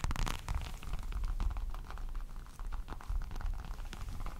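A small folded black leather wallet is held in both hands close to a microphone and tapped and scratched with fingertips and short nails. The result is a steady stream of soft, low, thumpy rubbing and muffled taps with faint crackly scratches, dominated by deep low-end rumble.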